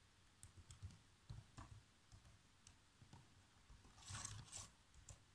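Fingertips with short nails type fast across the black plastic chiclet keys of a laptop keyboard, producing quick, soft taps with a low thud and a light bright click. The keystrokes come in uneven bursts, with a denser, louder flurry near the end.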